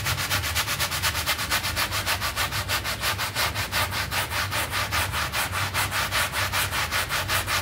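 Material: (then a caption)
Synthetic pile. A small, wet, soapy rectangular synthetic pile carpet mat lying flat on the floor is scrubbed in strokes with a red hand brush with dark bristles. Quick, steady back-and-forth strokes make a bright, bristly swishing hiss that pulses evenly throughout, over a constant low rumble.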